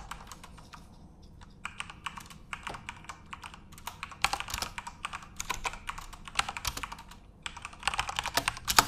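A full-size RGB-backlit Corsair mechanical keyboard with plastic keycaps is typed on by fingertips at a moderate pace. Short, bright plastic clacks come in uneven bursts with brief pauses, each click dying away almost instantly.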